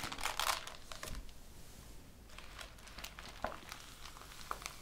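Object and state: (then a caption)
Printed paper pages. Flat palms and fingertips rub and trace across the printed paper pages of a thick ring-bound thesis lying open on a table. Soft, crinkly rustling and brushing fill the clip, with brighter scratchy bursts early on and a few sharp paper ticks later.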